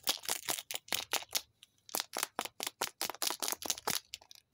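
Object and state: Plastic toy capsule.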